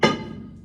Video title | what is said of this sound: Old Hundred Mine: Colorado’s Gold Rush Dreams & Disaster | Not good if we hear that or this. Big hollow spot.